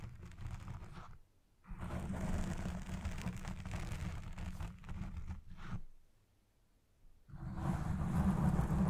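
Long red-painted nails and fingertips scratch and rub the soft, porous black foam windscreen fitted over the hollow head of a Blue Yeti Pro microphone. The result is a deep, muffled, rumbling scrape with a rustling, tearing texture, mostly low in pitch. It comes in three bursts separated by short near-silent pauses.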